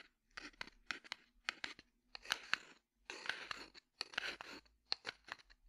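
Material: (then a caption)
Cardboard. A small, hollow red cardboard matchbox is held in the hand and tapped and scratched with the fingertips. The result is a run of crisp, dry taps broken up by short bursts of papery scratching, all bright and high with almost no low end.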